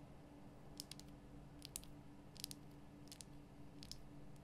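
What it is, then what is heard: Himalayan salt lamp. Long painted nail tips tap on a large, solid, lit pink Himalayan rock-salt lamp, making about twelve quick, dry, bright clicks that fall in small pairs and clusters. Each tap dies away almost instantly over a quiet, steady low hum.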